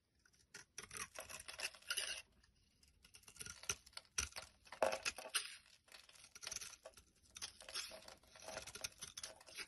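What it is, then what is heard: Bar soap being cut. A blade cuts and scrapes brittle chunks off a solid pink bar of soap held in the hand. Quiet, dry, crisp crunching and scraping comes in irregular bursts, bright and airy with almost no low end, and short pauses fall between the cuts.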